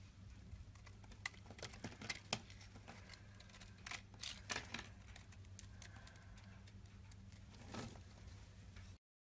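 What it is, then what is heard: Soap bar being carved. A rectangular solid white soap bar held in the hand is scraped along its face and edges with a box-cutter blade. Quiet, dry scratching comes in short bursts with sharp, bright ticks, a few louder strokes standing out over a steady low hum.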